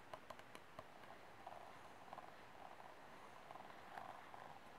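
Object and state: Empty plastic cup.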